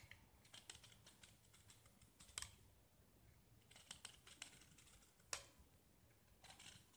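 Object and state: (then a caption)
Gypsum plaster block being carved. A small, solid oval gypsum plaster block, painted green over white and held in one hand, is scraped and carved with a utility knife blade that peels off thin curls of plaster. Quiet, dry, bright scratching and crisp crackles come in irregular bursts, with a few sharper snaps standing out.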